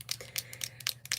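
A dip-and-draw liquid eyeliner bottle is shaken, its small mixing bead knocking back and forth inside. About seven short, bright clicks sound in quick succession, with a faint low hum underneath.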